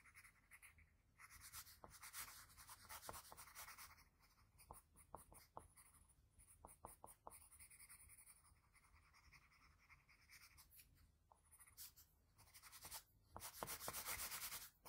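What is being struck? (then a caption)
Graphite pencil on a paper drawing sheet. A graphite pencil rubs and shades inside the lips of a sketch on a flat sheet of white drawing paper. Quick, uneven, bright scratchy strokes run throughout over a faint low hum, swelling into a denser, louder patch of shading near the end.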